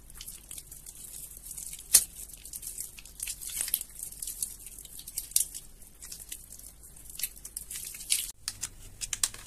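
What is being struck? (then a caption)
Bar of soap. Fingers with painted nails squeeze and crumble soaked, mushy soap in a sink of yellow water. The result is a steady, quiet stream of bright, wet crackling and crinkling, with a few sharper crunchy pops standing out. The clip ends with a brief drop in the background hum.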